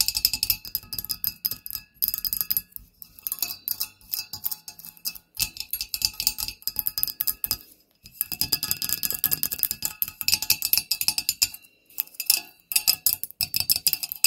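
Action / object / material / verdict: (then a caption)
tap / glass spider candle holder / glass / none. Fingernails tap rapidly on a Halloween spider candle holder, producing bright, high-pitched clicks and chinks with almost no low end. The taps come in dense bursts separated by brief pauses, and each one dies away almost instantly.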